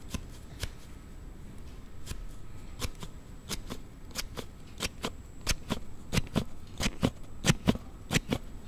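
A thumb slides the card panel of a hard plastic Note7 slide phone case open and closed near the recorder, producing an unusual sound. About 21 short, sharp plastic clicks snap out at an uneven pace over low rustling, with bright ticks on top, and they grow louder toward the end.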